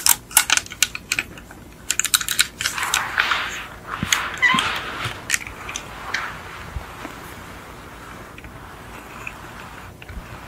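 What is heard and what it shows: Long acrylic nails tap and scratch the roof and sides of a small, hollow yellow die-cast VW Beetle model car, probably a metal body with plastic windows and wheels, resting on a fluffy white mat. Quick, bright, dry clicks with almost no ring come in clustered bursts, mixed with brief raspy scratching passes. After about six seconds it settles into faint, soft scratching.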